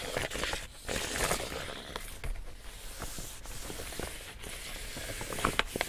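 An empty large pink woven plastic tote bag is held up while fingers scratch and tap across its surface. Dry, crinkly scratching rustles steadily, broken by short, sharp taps, with a few brighter clicks near the end.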